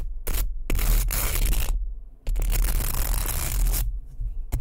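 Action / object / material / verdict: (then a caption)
scrape / wooden hairbrush with bristles / wood / none. Fingertips and nails rub and scratch the bristles and wooden body of a light, small, solid wooden hairbrush held close to the mic. The result is a series of dry, bristly scraping bursts, with two longer sustained passages of scratching, over a heavy low rumble.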